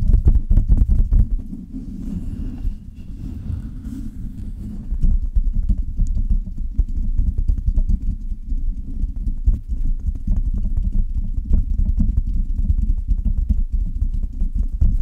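Long red fingernails on both hands scratch and tap the hollow metal mesh grille of a silver Blue Yeti microphone. The result is a dense, irregular stream of dull, muffled low thumps and rubbing scrapes, with a quieter, softer stretch in the middle before the rapid tapping picks back up.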